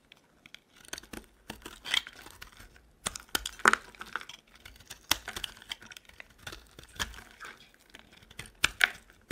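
A metal utility knife blade shaves thin curls off a solid, dry, green oval soap bar held in the hand. Crisp, bright scraping and crackling strokes come in quick bursts with short pauses. Each cut ends dry, with almost no ring.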